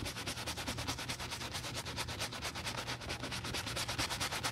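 A wooden bristle brush scrubs foam into the heel counter of a brown leather cowboy boot in quick, steady back-and-forth strokes. Each wet stroke makes a bright, rasping, bubbly swish over a faint low rumble, keeping up an even scrubbing rhythm throughout.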